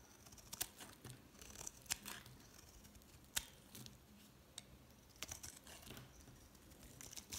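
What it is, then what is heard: Bar of soap being scraped. A utility knife blade scrapes and cuts shallow ridges into a solid green bar of soap held in the hand, leaving curling flakes on the surface. Quiet, bright, crisp scraping and cutting clicks come at an irregular pace, with a few sharper snaps standing out over soft background hiss.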